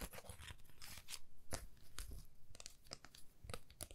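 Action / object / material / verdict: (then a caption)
scrape / thin carved plywood heart / plywood / none. A flat, thin, solid laser-cut plywood heart with a cut-out swirl pattern, palm-sized and held in both hands, is tapped and scratched with long manicured nails. Quick, dry clicks alternate with bright, papery scratching bursts over a soft low thump. Each sound dies away almost at once.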